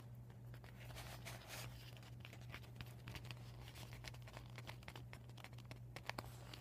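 Short nails scratch and tap a flat, empty, deflated PVC vinyl beach ball with a yellow panel bearing marker writing, while fingers crinkle the vinyl. Quiet, dense crinkling and scratching is broken by sharp little ticks, all over a steady low hum.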